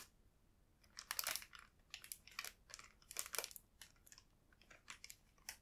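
A full clear plastic tray bag of strawberry triangle buns is held and pressed with fingertips, crinkling the plastic. Bursts of bright, crackly crinkling come in uneven clusters over quiet gaps, with almost no low end.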